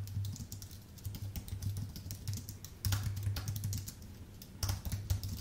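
Fingertips of both hands type steadily on a full-size white Apple Magic Keyboard with numpad, its thin aluminium base and plastic keycaps resting on a dark desk. A continuous stream of quick, soft key taps pairs a low, muffled thud with short bright clicks, each dying away almost instantly. The typing swells louder in bursts partway through and near the end.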